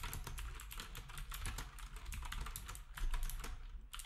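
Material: Plastic.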